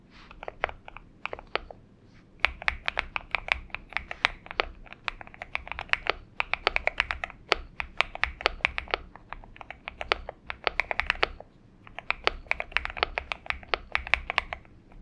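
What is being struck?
Aluminum-cased mechanical keyboard with PBT keycaps.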